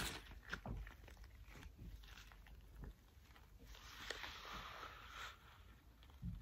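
Hands wearing thick cream rubber household gloves rub together and interlock their fingers, giving soft, continuous rubbery rubbing and squeaks with brighter swishes over a low dull rumble. A few sharper squeaks and thumps stand out along the way.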